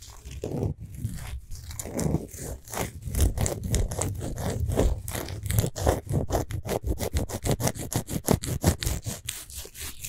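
Long pointed nails scratch the rough surface of a large solid pink Himalayan salt globe lamp up close. The result is a dry, gritty scraping of quick repeated strokes with a heavy low body, speeding into a rapid, even run of short scratches in the second half. Each stroke stops dead with no ring.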